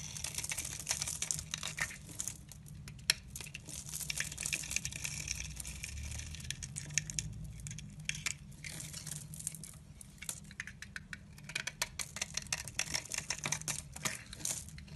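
A blade with a pink handle scrapes and shaves thin curls off a solid rectangular olive-green soap bar held in the hand. The sound is a steady run of dense, bright, crinkly scraping with many sharp little clicks, over a faint low rumble underneath.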